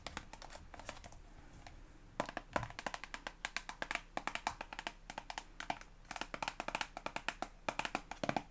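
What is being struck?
Soft plastic toothpaste tube.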